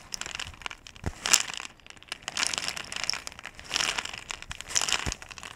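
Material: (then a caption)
Plastic. A clear, ridged plastic bottle with a blue cap, nearly full of small white round pellets, is held sideways in both hands, shaken and handled while long-nailed fingertips grip and rub its surface. Bursts of bright, crinkly rattling and scratching rise and fall, with sharp, quick-fading clicks and almost no low end.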